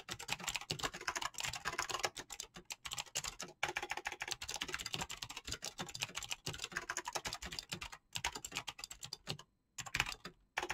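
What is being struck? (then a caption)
Mechanical keyboard with plastic PBT keycaps. Fingertips with painted nails type rapidly on a mechanical keyboard with PBT plastic keycaps and clicky switches. The result is a dense, bright stream of sharp clicks that die away almost instantly, with very little low end. Brief pauses break the stream, the longest near the end.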